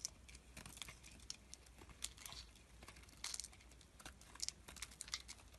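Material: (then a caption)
Glycerin soap. A utility knife blade shaves and scrapes thin sheets off a solid purple translucent glycerin soap bar held in the hand. It makes quiet, bright, crisp scraping and crinkly ticking sounds in quick irregular bursts over a faint steady low hum.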